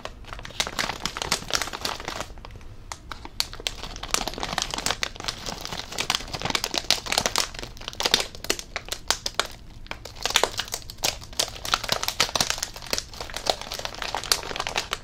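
A blue Covered Bridge potato chip bag made of plastic foil and full of chips is squeezed and crinkled in the hands close to the microphone. Dense, bright crackling crinkles run throughout, with brief quieter lulls between bursts.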